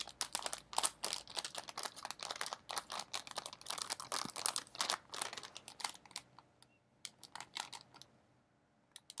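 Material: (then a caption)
Metallized plastic. A medium shiny blue metallized plastic Smartfood snack bag, partly full of popcorn, is held up and crinkled and squeezed with the fingertips. The result is a dense run of bright, crisp crackles with no low end, busiest for the first six seconds. It then thins into scattered crinkles with short silences and a last few crackles at the end.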